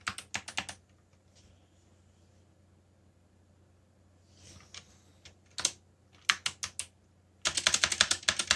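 Fingertips type on a backlit mechanical computer keyboard with plastic keycaps, producing sharp, bright clicking keystrokes. A quick burst of taps opens the clip, followed by a quiet pause with a few soft, scattered presses. Typing then resumes and builds into a dense, rapid run of clacks at the end.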